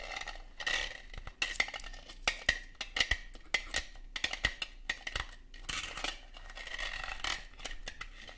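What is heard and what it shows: Long gold metal claw nail covers rub and scratch across the ribbed surface of a red, hollow, likely plastic Christmas bauble held in the hand. Bright, scratchy rasps come in bursts, with sharp clicky taps and a faint steady ringing tone near 1.9 kHz. The result is a crisp, high-pitched scraping texture with little low end.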